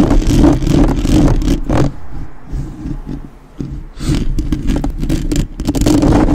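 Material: Metal mesh.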